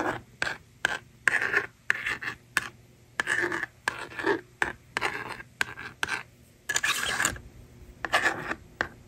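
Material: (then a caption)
Plastic. A yellow plastic stylus scratches and writes on the honeycomb screen of a small hand-held blue and pink plastic magnetic drawing board, and the board's eraser slider is moved. The result is a series of short, dry scratching and scraping bursts with a bright, rasping edge centred around 1.6 kHz, separated by brief quiet gaps, with longer sliding scrapes mixed in.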